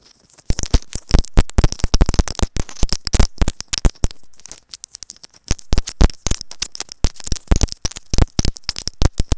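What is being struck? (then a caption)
Plastic earphone inline microphone capsule. A small white hollow plastic in-line microphone capsule on wired earphones, held between fingers, is tapped and scratched with long acrylic nails. Rapid, dense, dry taps and scratchy clicks come in clusters with brief pauses. Each hit lands as a deep, boomy thump with a crackly edge and almost no ring.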